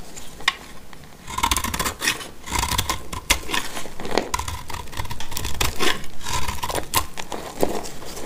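A solid, dry, light blue bar of soap held in the hand is cut with a black utility knife blade into crumbly pieces. Quick, irregular crisp scraping and crunching strokes follow one another in dense bursts, each with a bright edge and a short dry stop and no ring.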